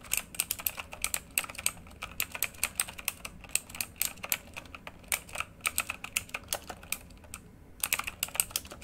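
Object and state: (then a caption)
Mechanical keyboard with plastic keycaps. Both hands type with fingertips on a full-size backlit RGB mechanical computer keyboard with plastic keycaps on a hollow housing, lying flat. It makes a fast, steady stream of short, bright, clicky key taps with almost no ring and little low end. A brief lull comes near the 7-second mark before a final flurry of keystrokes.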